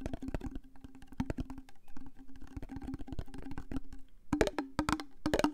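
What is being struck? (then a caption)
Plastic cream jar. Fingernails tap rapidly on the white lid and clear body of a large plastic Elizabeth Arden jar full of cream. The taps are dry and short with a low, hollow knock and almost no ring. They run as a quick, uneven patter that grows louder and sharper near the end.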